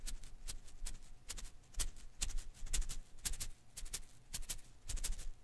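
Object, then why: Rubber-filament Koosh ball. A hand-sized blue and green rubber-filament Koosh ball is held in one hand while fingertips rub and flick its strands. Quiet, dry, crackly flicks and brushing strokes come in an irregular, fairly quick series, each a short bright burst with no ring, over a soft low rumble.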